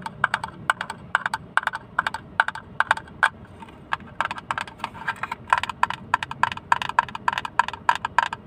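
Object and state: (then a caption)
Hollow plastic case. A small, hollow blue plastic hinged case, open and empty and held close to the mic, is tapped with fingertips in a rapid, uneven series of about forty light taps. Each tap is a short, dry, hollow click with a woody tone centered near 940 Hz, a bright edge, and almost no ring or low end.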